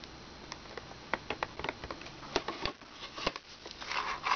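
Long red nails tap quickly across the keys and screen frame of a small, hollow plastic children's toy laptop, then fold its lid closed. The result is a run of short, dry, bright clicks and taps with almost no ring, over a faint steady hiss.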